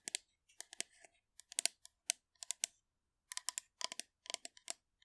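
Long manicured nails rapidly tap and scratch the surface of a hollow blue metal aerosol shaving foam can held upright next to the mic. About 22 sharp, bright clicks land in quick clusters with no ringing, separated by a brief pause midway.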